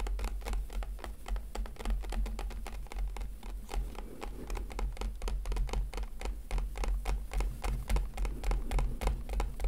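Fingertips gently tap a hollow, hand-sized clear plastic blister pack holding a FIMO product. The result is a steady, slightly uneven stream of quick, light, crisp clicks that die away almost instantly, over a constant low hum.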